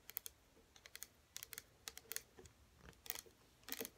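Long natural fingernails rapidly tap the front and sides of a small pink plastic hair serum bottle (97 ml) standing upright on a table, hollow and partly filled with liquid. Quick, quiet, bright clicking taps come in uneven bursts, each dying away almost instantly with very little low end.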